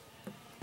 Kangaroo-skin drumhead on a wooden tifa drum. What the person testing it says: Bunyinya sudah sesuai dengan suara lagu yang nanti akan diangkat bersama-sama ketukan adat.